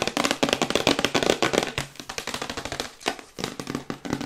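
Long white acrylic nails tap rapidly on a glossy printed cardboard Yeti microphone box, held upright and then tilted. The taps are sharp, bright and clicky with a hollow papery tone, coming in fast, uneven bursts that die away almost instantly. The tapping softens briefly midway, then picks back up.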